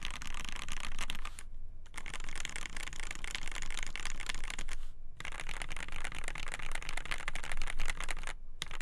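A black polycarbonate KBD8x TKL mechanical keyboard with a polycarbonate plate, Gateron Black Ink switches and white and black PBT keycaps is typed on with both hands, fingertips pressing and tapping the keys. A fast, steady stream of bright clacky keystrokes runs throughout, broken by three brief pauses, over a constant low hum.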